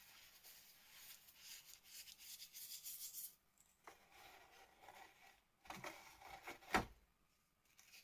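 Fingertips and a palm press into and crush a large, flat, red and yellow flower shape made of sand mixed with cornstarch paste, lying on a plastic sheet, as pink powder breaks off the solid, crumbly slab. Soft, gritty rubbing and crunching with a bright hiss comes in waves with brief quiet gaps. Near the end, one sharper crack of breaking stands out.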